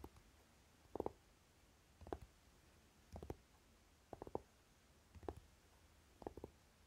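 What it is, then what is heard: Velvet-flocked tin eyeshadow palette. Fingernails tap the side edge of a flat, rectangular Naked eyeshadow palette, a hollow tin case flocked in dark velvet fabric, then tap and scratch its lid. The result is quiet, muffled double and triple taps in clusters about once per second, with no ring afterward, over a low background hiss.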